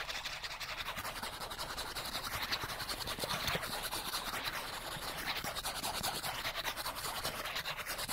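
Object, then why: Small flat cardboard card. A small, thin, solid die-cut cardboard card printed with a cartoon chipmunk face is held in the hands and scratched fast with the fingernails along its face and edge. The result is a dense, continuous, bright, rasping scratch with rapid flutter and very little low end, holding steady for the whole clip.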